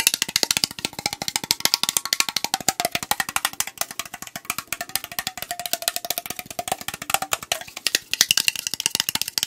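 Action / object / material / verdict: tap / aluminum drink can / aluminum / none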